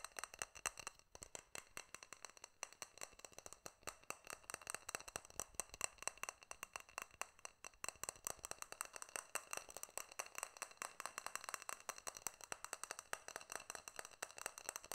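A small, clear, hollow glass jar with a silver metal lid is held in hand while fingertips and nails tap and click rapidly on its glass sides and lid. The result is a dense, steady stream of quiet, sharp, bright clicks that die away almost instantly, with very little low end.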